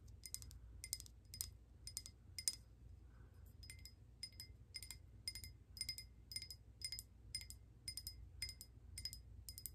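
A hand-sized hollow speckled glass votive holder with a lit candle inside is held and tapped and lightly scratched with long painted nails. Quick, bright glassy clicks come in irregular bursts with a short high ring over a low background rumble.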